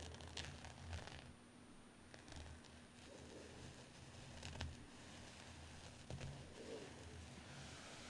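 Fingertips and nails scratch and rub a medium white cotton terry towel with a dark embroidered pattern, which lies flat on a dark cloth surface under both hands. The result is a quiet, continuous scratchy rustle over a low rumble, with brief brighter scrapes and a few slightly louder bursts.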